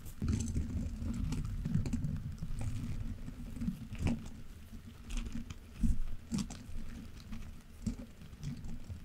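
Gloved hands drag and tap the long soft bristle tips of one orange-pink, solid-bodied silicone scrub brush across the top of a metal mesh Yeti microphone grille. The result is a steady, close, low, muffled scratching patter broken by short soft thumps and dull taps, with almost no high or bright content.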